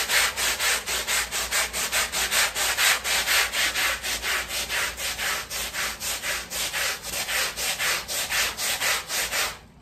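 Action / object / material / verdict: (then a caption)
scrape / small woven fabric rug scrubbed with a stiff brush / fabric / none. A long-handled black stiff-bristle brush scrubs a small flat woven fabric rug covered in soap foam on plastic sheeting. Rapid, steady back-and-forth strokes make a bright, wet, hissing scrub with a faint foamy crackle that fades out at the end.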